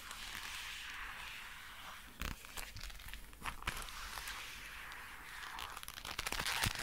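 Dark brown leather gloves worn on both hands, with the fingers clawed and flexed so the glove leather rubs and stretches. The result is a steady, bright, crinkly rustle broken by sharp creaking snaps. The snaps grow denser and louder toward the end.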